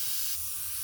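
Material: Nothing is struck.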